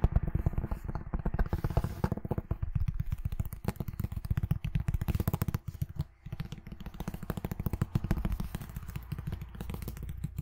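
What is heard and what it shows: Long nails rapidly tap and scratch the cover and gilded spine of a red hardcover book with a gilt-embossed cover, held upright. The result is a dense, continuous patter of short, dull, low taps mixed with soft scraping, with a brief lull around the six-second mark.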